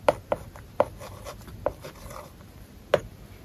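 A stylus writes on an iPad screen covered with a matte plastic paper-like film, making several sharp, dry taps around 600 Hz with quiet scratching strokes between them. The taps are short and irregular, with almost no ring and little low end.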